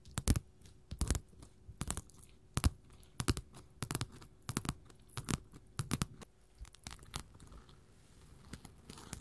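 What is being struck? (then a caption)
Glitter faux leather sheets. Long pointed gold metal claws worn over the fingertips scratch and tap flat, thin glitter faux leather sheets laid on a table: multicolored strips of blue, pink, silver, purple and copper beside a large green sheet, all recorded close to a stereo recorder. The result is an uneven run of sharp, dry clicks and crackly scratches with a bright edge and a low thud beneath, each dying instantly with no ring, between quiet scraping.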